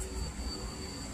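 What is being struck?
Nothing is struck.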